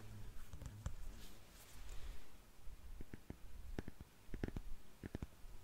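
Long nails scratch and then tap on the shiny heel and counter of a single black glossy patent leather high-heel shoe. Soft, rustling scratches come first, followed by a series of sharp, quick clicks over a low, dull background.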